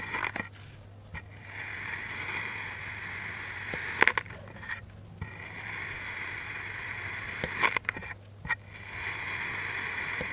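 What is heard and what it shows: A steel knife blade slices repeatedly through a solid, green molded kinetic sand block, making crunchy, bright scraping cuts. Long gritty scrapes alternate with short quiet gaps and a few sharp ticks as the blade strikes and lifts.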